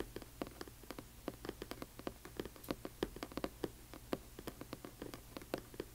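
Long nails on both hands tap quickly on the cover of a large hardcover book with a glossy paper dust jacket lying flat. A quiet, rapid patter of about thirty short, dry clicks follows, each dying away almost instantly. The clicks have a hollow mid-range tone with a bright tick on top and a faint low hum underneath.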